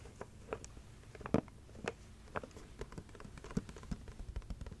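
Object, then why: Clear plastic chocolate box. A heart-shaped clear plastic Ferrero Rocher box, about 15 cm across and full of gold-wrapped chocolates, is held in the hands and tapped with long red nails. It gives a quick, uneven run of quiet, dry plastic clicks and light knocks with a soft low body and almost no ring.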